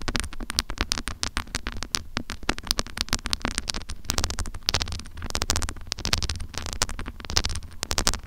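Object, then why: Small metal microphone with mesh grille. Long acrylic nails scratch and tap the mesh grille and body of a small handheld metal mini microphone held upright. The result is a rapid, dense run of sharp, bright clicks and scratchy rasps with almost no ring, over a steady low rumble.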